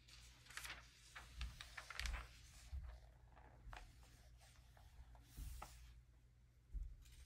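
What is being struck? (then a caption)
Glossy paper magazine. An open early-2000s glossy paper magazine lies flat on velvet cloth while fingertips and a palm rub and smooth its pages, then turn them. Soft, close papery swishes and crinkles with brief bright rustles sit over a low rumbling hum, with a few louder page movements standing out.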